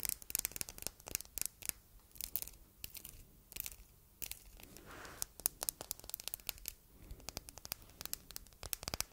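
A palm-sized solid red glass heart paperweight, engraved with text and set with rhinestones, is tapped and scratched on its flat face with long red nails. Quick, bright clicks and ticks come in uneven bursts over soft scratchy rustling, each tap dying away almost instantly.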